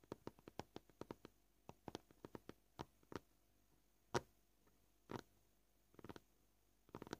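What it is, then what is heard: Plastic cutting board. Short purple fingernails tap on a white plastic cutting board, making dry, quick clicks that die away almost instantly. The taps are soft and come at an uneven, shifting pace: a steady run at first, then sparser taps with one louder knock near the middle and small clustered flurries toward the end.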